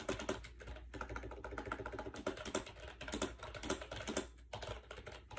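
Fast fingertip typing on a compact gray plastic AJAZZ 308i wireless Bluetooth keyboard with round white keycaps, resting on a bed. The hollow plastic keys give a rapid, uneven stream of short, light clacks with brief pauses, over a faint steady low hum.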